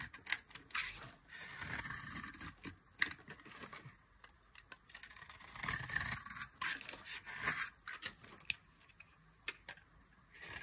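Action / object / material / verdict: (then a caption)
scrape / soap bar shaved with a metal blade / soap / none. A solid oval bar of dry mint-green soap, held in the hand, is shaved with a metal utility knife blade. Bright, dry scraping and cutting strokes come in bursts with short pauses between them, and there is one sharp click near the three-second mark.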